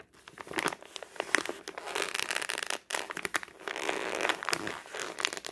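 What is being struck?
Thin newsprint paper flyer.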